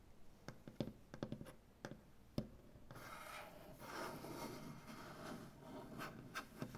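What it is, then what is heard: Wooden butcher block tabletop. One hand works over a solid light wood butcher block tabletop with fingertips and nails. The first three seconds bring a string of sharp, dry knocks that stop quickly. After that comes a steady, soft scratching and rubbing with a bright rasp, broken by a few more taps near the end.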